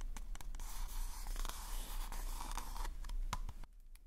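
Fingertips and nails tap and scratch a hollow pink polka-dot paper cone party hat held over the mic. A steady dry, papery scratching fills the clip, punctuated by sharp, bright taps. The rustle cuts off near the end, leaving a few soft taps over a low rumble.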